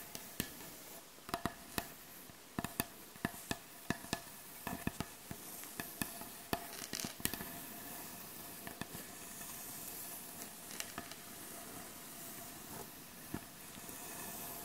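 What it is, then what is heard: Wooden butcher block board. Long acrylic nail tips tap and scratch on the surface of a solid, light wooden butcher block board. A quick run of sharp, dry taps with almost no ring fills the first half. This gives way to a steady, bright, scratchy rasp, with a few scattered taps over a soft, hissy background.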